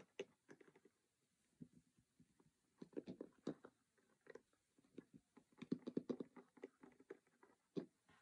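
Fingers tap and scratch rapidly on the printed lid surface and edges of a closed cardboard Monopoly game box. The result is a soft, dry, typing-like patter of quick, dull taps in irregular bursts, with short pauses between them. The taps are mostly low-mid in tone and have almost no ring.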